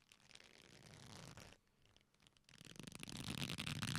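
A black leather belt with a flat, solid strap is folded into loops and squeezed together by both hands, giving a soft rubbing creak. The sound dips to near quiet around the middle, then returns louder and denser, with bright, crackling creaks over a low rubbing body.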